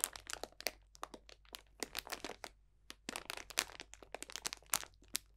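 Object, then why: Cellophane bag of dried orange slices, leaves and spices. A medium, roughly hand-length clear cellophane bag full of dried orange slices, bay leaves and spices is squeezed and crunched with the fingertips of both hands. The result is a quick, irregular run of bright, dry crackles and crinkles that stop abruptly, with brief quiet gaps between bursts.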